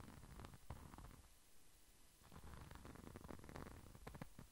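A small, flat red pouch with a glitter-coated surface is held beside the microphone and scratched and tapped with the fingertips. The result is quiet, low rustling and rumbling scratches broken by soft, crackly taps that fade quickly.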